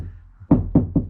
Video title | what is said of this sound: 2019 Toyota Tacoma with a door problem. Had to fix the rattle. | in these doors uh there's nothing there it's one reason why it's probably pretty loud